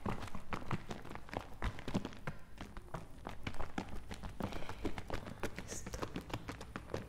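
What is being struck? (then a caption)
Plastic bottle partly filled with liquid. A medium plastic bottle partly filled with green liquid, with foam on its outside, is shaken close to the mic so the liquid sloshes inside. The result is a steady, rapid run of soft, dull sloshing thuds and light taps with very little ring, weighted toward the low end with only faint brighter flecks.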